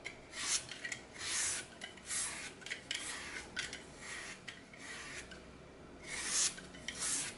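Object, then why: Glitter-coated floral foam block. A solid green floral foam block with a glitter-coated surface is held over a glass bowl while a red-handled cutter repeatedly shaves and crumbles its edge. The result is a series of bright, dry rasping and scraping bursts with short crumbly tails, separated by quieter gaps and carrying almost no low end.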